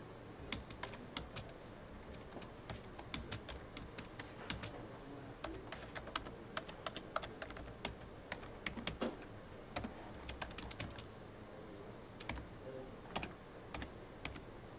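Fingertips of both hands type on the keys of a full-size black plastic computer keyboard with a hollow body. Irregular runs of short, sharp clicks with bright highs ring off almost instantly over a steady low hum.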